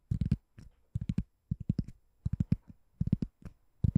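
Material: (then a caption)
Foam. A white, palm-sized, ring-shaped door stopper that looks like solid foam or rubber is held above the microphone and tapped and scratched with long painted nails. Quick clusters of soft, dull, low thuds come in bursts with short pauses between them. The sound is muffled, with almost no brightness and no ring after each tap.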